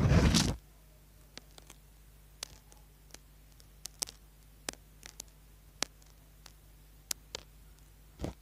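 A small, solid orange bar of soap is held in the hand while its edge is scratched with a tool and fingernails. A loud, broad scraping burst opens the clip. It is followed by a sparse series of short, bright, crisp scratches over a steady low hum, and it ends with another brief scrape.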